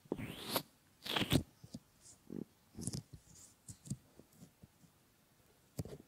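Fingertips rub and fold the rim of a pair of solid silicone ear models, making quiet, close rubbing and squeaky friction sounds. Longer bright swishes at the start give way to short, soft low thumps and brushes separated by near silence, and a final rustle closes the clip.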